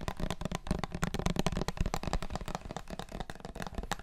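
A small clear plastic syrup bottle with a paper label and a red plastic flip-top cap, holding dark liquid, is held in both hands and tapped all over with fingertips and nails. The result is a rapid, dense stream of short, dull, hollow taps with a low thumping body and light clicky edges that die away almost instantly.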